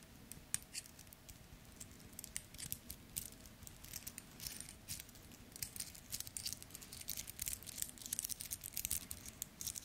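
Fingers tap, scratch and flex the link bracelet of a small two-tone steel and gold metal wristwatch held close in the hands. The result is a quiet, dense stream of bright, tiny metallic clicks, ticks and jingling rattles that die away almost instantly. The activity becomes busier in the second half.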